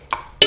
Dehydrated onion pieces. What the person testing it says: hear how crispy they are you can just hear them